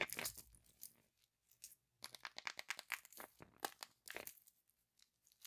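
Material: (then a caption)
Aluminium foil. A large, hollow Kinder Surprise Maxi chocolate egg wrapped in printed aluminium foil is held unopened in both hands while fingertips and nails rub and scratch the wrapper. The result is quiet, bright, dry foil crinkling in rapid bursts separated by short silences, with almost no low end.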